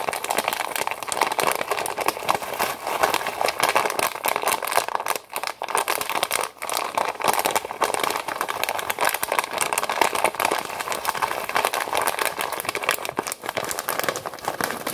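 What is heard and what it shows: A Knorr Pasta Sides pouch of foil-lined plastic, full of dry pasta, is squeezed and crinkled with fingers, then lifted and shaken. A dense, continuous crackling and crinkling with a bright mid-to-high hiss and rattling pasta inside runs throughout, with brief dips in level around five and six and a half seconds.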